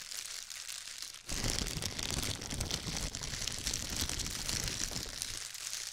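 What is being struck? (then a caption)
Thin disposable plastic gloves. A pair of thin, clear, disposable plastic gloves, one held loosely in each hand beside the microphone, is crumpled and shaken with the fingertips. Soft crinkling for the first second jumps to loud, dense, bright crackling and rustling that continues to the end.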